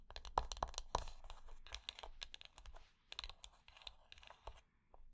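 A small, flat, rectangular hollow wooden box lying on a black fabric surface is tapped and scratched with long painted nails of both hands. Quick, irregular clicky taps mix with dry, crinkly scratching, and a few sharper taps near the start ring briefly with a hollow tone around 1 kHz.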